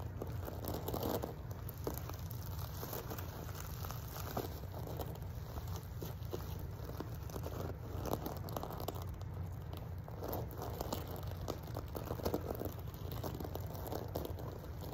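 Both hands with long nails scratch and rub across a rectangular throw pillow covered in small reflective plastic sequins over a soft fabric-filled core. A steady, dense stream of crinkly scratching and rustling clicks plays over a constant low hum, with brief louder scrapes here and there.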